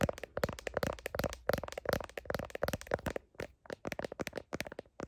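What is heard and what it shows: Long nails tap and scratch the back of a smartphone's blue plastic heart case near the camera. The result is a rapid run of short, dry clicking taps with a faint ringing tone around 560 Hz, mixed with brief scratchy rasps.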